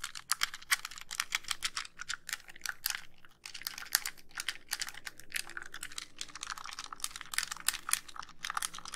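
Long nails tap and scratch the back of a white, hollow plastic handheld game console. The result is a dense, steady stream of quick, dry, bright clicks and scrapes with almost no ring, broken by a brief pause about a third of the way through.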